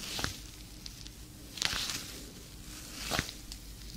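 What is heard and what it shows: A hand with long painted nails wearing a black leather fingerless glove clenches and flexes, so the leather squeezes and crinkles against itself. Soft, bright creaks and crackles rise in short bursts over a quiet, steady low background.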